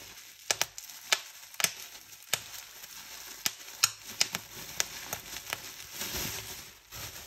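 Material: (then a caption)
Plastic film. Hands scrunch a clear plastic bubble wrap sheet, crinkling the film with a steady, bright rustle. Thirteen sharp, high pops snap out as bubbles burst, each dying away almost instantly.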